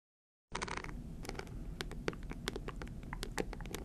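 A small rectangular hard-shell clutch purse shaped like a stack of bills, covered in green, white and gold glass-like rhinestones and likely hollow, is held upright in both hands and scratched with long green acrylic nails. After a brief silence, a steady run of quick, sharp, bright clicks and ticks sounds over a low, constant rumble.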